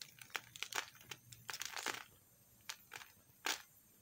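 A metal knife scrapes a small piece of pink soap held between the fingers, shaving it into crumbs. Short, bright, crinkly scraping bursts come in quick clusters, separated by quiet pauses, with little low end.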